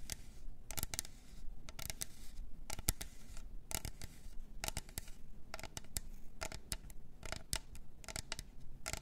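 Long nails tap and scratch on a pink glitter double-walled plastic tumbler with a clear lid, working over both the cup body and the lid. Quick, bright plastic clicks with almost no ring come in irregular clusters over a soft, steady scratching rustle.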